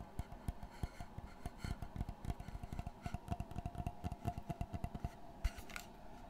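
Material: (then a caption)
Wood. Fingertips tap and scratch the flat face of a dark brown framed panel with a wooden border, held close in front of the mic. About two dozen short, dull, bass-heavy knocks come in a quick, uneven rhythm, with soft scratchy rustling between them over a faint steady hum.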